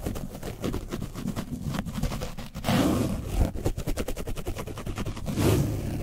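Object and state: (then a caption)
Paint-coated foam mic windscreen being brushed. A foam paint brush is scrubbed along the sides and top of an orange foam microphone windscreen coated with dried paint. Rapid, rhythmic scratching strokes produce a dense, rough, low-heavy rumbling scrape with brief louder bursts. The texture is muffled and rumbly rather than bright.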